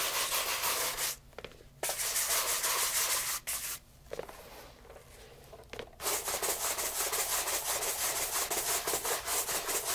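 A light brown leather loafer held in hand is brushed with a horsehair shoe brush on the upper and along the welt. Quick, bright bristly strokes repeat in a steady rhythm and stop twice for brief pauses before the brisk brushing resumes.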